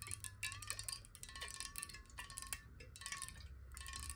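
Long nails tap rapidly along the side of a clear glass water bottle with a neck, hollow and partly filled with water, held horizontally in both hands. The quick, bright glassy clicks run together over a steady ringing tone near 1 kHz while the water sloshes inside, with a low rumble underneath.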